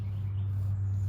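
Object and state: Nothing is struck.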